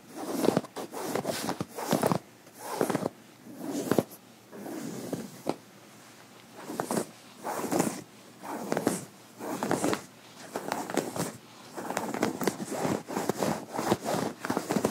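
Metal fingerpick tips scratch and rub a light cotton shirt sleeve on the forearm. Soft, scratchy rustling comes in short bursts separated by brief quiet pauses, mostly in the midrange with faint bright edges.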